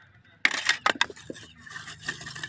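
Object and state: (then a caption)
Well-fired hard charcoal. Pieces of well-fired hard wood charcoal are knocked together, giving bright, glassy clinks with a ringing tone near 2 kHz. The strikes come in a quick cluster and then fade into lighter rattling, and the high-pitched clink marks it as good, hard charcoal.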